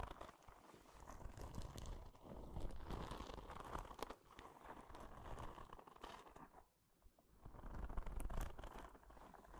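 A small, hollow, yellow-green soft rubber spiky ball is held in the hand and squeezed and rubbed with fingertips and long nails close to the microphone. This produces a dense, irregular stream of crinkly, crunching and scratchy rubbing sounds over a heavy low rumble. The sound dips briefly into near quiet around seven seconds, then swells back up.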